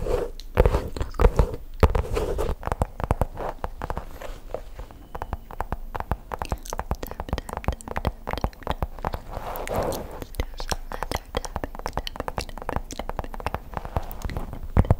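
Long pink acrylic nails scratch and tap the surface of a black padded faux leather pouch, held flat and then tilted beside the mic. The sound is a dense run of dry, crunchy clicks and scrapes that sit mostly low, with brief sharp taps and no lingering ring.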